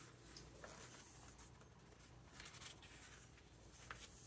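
Fingertips rub across the glossy paper pages of a large open hardcover book and turn them, making a quiet, steady papery rustle. Soft brushing strokes are broken by a few brighter, crisp swishes as the pages slide and turn, over a faint low hum.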